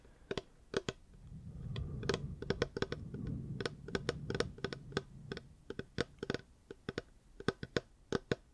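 Fingers tap on a reusable hard plastic water bottle in a quick, irregular series of short, dry clicks, each with a hollow tone near 400 Hz and a faint bright edge that dies away almost instantly. A soft low rumble swells underneath during the middle of the clip and then fades.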